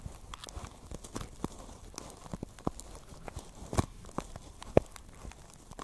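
A small, hollow pink basket woven from plastic strips is held against the mic and tapped and scratched with long nails. Quiet, irregular dry crackles and sharp clicks follow one another with almost no ring, and a few louder taps stand out toward the end.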